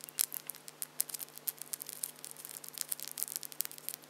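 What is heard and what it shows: Long acrylic false nail tips held between the fingers of both hands are tapped together and scratched against each other. The result is a quiet, rapid patter of tiny, sharp clicks and scrapes, very bright with almost no body, over a faint steady low hum.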